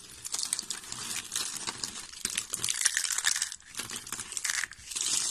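White, translucent dry soap curls, thin hollow rolled strips, are squeezed and crushed by the fingers of both hands. A dense, crisp crackling and crinkling runs almost continuously, bright and high with almost no low end. It swells and eases in waves, with brief quieter dips between handfuls.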